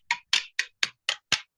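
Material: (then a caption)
Pitch, copper. Six light, bright taps sound as a hammer strikes a butter knife to chip cold chaser's pitch out of a dished copper sheet, each hit short and hollow with almost no low end and a quick decay. The hollow tone shows the pitch has released from the copper, and large pieces of pitch then come out.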